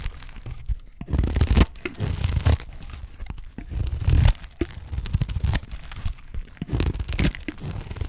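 A utility knife blade scrapes and slices thin layers off the face of a solid, dry green olive soap bar held in the fingers. Dry, crunchy tearing strokes come in uneven bursts with a heavy low-end body and short crackly edges, and quieter scraping between passes.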